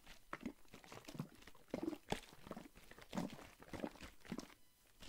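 A Listerine plastic mouthwash bottle filled with green liquid is held in one hand, shaken and squeezed while fingers tap on the plastic. Quiet, irregular soft crinkling crunches and dull taps with a low hollow body come in clusters. Each sound dies away quickly.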